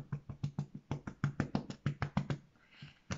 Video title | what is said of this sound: Pain au levain sans gluten | il est bien caramélisées l'a bien développé on entend qu'il est bien cuit